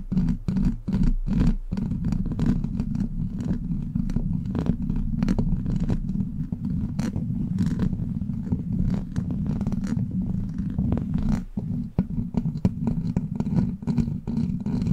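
Long black plastic claw nails tap and scratch a hollow steel mesh microphone grille. A dense, continuous run of rapid clicks and scraping rides over a low, steady hum, with a few louder taps standing out. The sound stays low and dull, with no bright ring after each tap.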